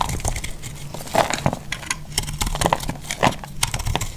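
A solid, dry, pink-and-green heart-shaped soap held in the hand is cut and scraped with a metal utility blade, crumbling off in pieces. Crisp, dry cracks and crunchy scraping snaps come in a rapid uneven series over a low rumble, with bright crackling edges that stop almost instantly.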